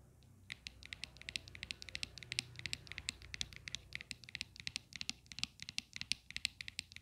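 Long clear acrylic nails tap and scratch the flat top of the white plastic square base of a desktop phone holder with a metal stem, apparently hollow, resting on a glittery surface. About fifty quick, irregular, crisp high-pitched clicks come in a steady patter, mixed with light scratching, each click dying away almost instantly.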